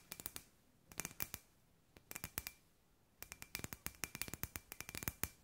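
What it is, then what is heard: Glass light ball tapped with nails. A palm-sized hollow clear glass sphere with fairy lights inside is held in both hands and tapped and scratched with long white nails. Quick bursts of sharp, bright clicks come in clusters separated by short pauses, each dying away almost instantly over a faint glassy ring near 2.4 kHz.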